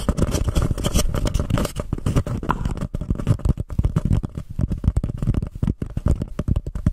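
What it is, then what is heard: Paper cup being scratched. A small, empty, white embossed paper cup is turned over a microphone, and long painted nails scratch its textured sides. The sound is a dense, rapid run of close, muffled scratching and scraping, heavy in low rumble with little brightness. Each stroke is short and dry, and the scratches blur together rather than standing apart.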